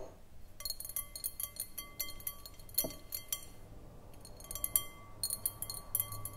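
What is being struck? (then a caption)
Glass bowl. Long acrylic nails tap and scratch the outside of a round, clear, hollow glass bowl on a short foot, nearly empty with a little liquid at the bottom, standing on a wooden table. A quiet, rapid stream of bright, high clinks with short ringing tones comes in bursts, with light scratching between the taps.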